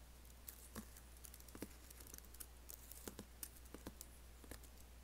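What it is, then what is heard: Laptop keyboard, plastic keys. Fingertips and nails type and tap on an Apple laptop keyboard with black plastic keys and an aluminium body. A quiet, irregular series of short, dry, bright clicks and taps sits over a steady low hum, each click dying away almost instantly.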